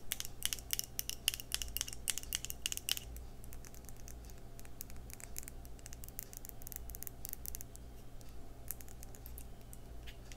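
Long red acrylic nails tap and scratch on the glass sides and pink-white plastic screw lid of a small, thick-walled, square clear glass skincare jar that appears partly full of cream. A quick run of bright, sharp clicking taps fills the first few seconds, then gives way to softer, steady scratching and lighter taps. A constant low hum runs underneath throughout.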